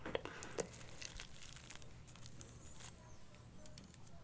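A small bundle of dried sage leaves tied with string, solid and dry, is held close to the microphone and squeezed and rubbed with fingertips. It gives a dry, crinkling crackle, with two sharper snaps near the start, then settles into a steady, soft papery rustle over a low background rumble.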